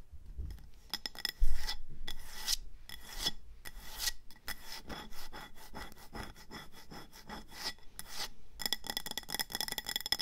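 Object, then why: Ceramic planter pot. Long nails scratch and rub the textured body of a speckled grey ceramic planter with an orange rim, filled with soil, pebbles and a succulent, after it is held and then set down on a table. Dense, rasping scratches come in quick bursts, with a louder low thump near the start as the pot is placed.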